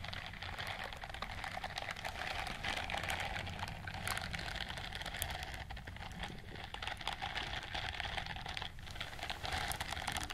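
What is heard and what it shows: Long nails scratch along the bristles on the palm and fingers of a white silicone dishwashing glove. The result is a steady, dense stream of fast, dry scratching ticks and crackles, bright in tone, over a faint low rumble.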